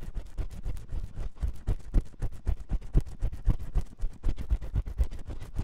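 A metal spiral ear pick scratches inside the ear canal of the white silicone ear on a 3Dio microphone. It makes rapid, uneven scraping strokes, about four per second, heavy and muffled in the low end with faint brief streaks reaching higher. The strokes run continuously with no pauses.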